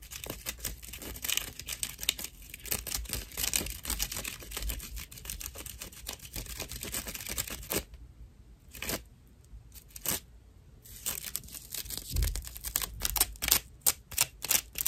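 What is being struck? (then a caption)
Dried loofah fibre slice. A round slice of dried natural loofah sponge is scratched along its edge and face with nails and fingertips. Dense, bright, rough scratching and crackling fills most of the clip, then pauses into a few sparse scrapes before quick, sharp scratches pick up again near the end.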